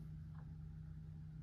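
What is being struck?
Nothing is struck.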